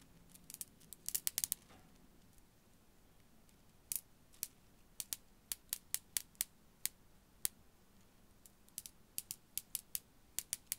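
A short strand of faceted dark-blue glass beads on a thin wire is held by the top and shaken and swung so the small solid beads click against each other. The result is sharp, bright, high-pitched clicks that die away instantly: a dense cluster at the start, a pause, then scattered single clicks and small groups over a faint background hiss.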